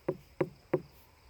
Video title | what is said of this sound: How to Pick the Perfect Watermelon at the Store or Farmer's Market! | if it sounds hollow inside that tells you there's a large dried out cavity if it sounds very dull like it doesn't resonate it tells you it's under ripe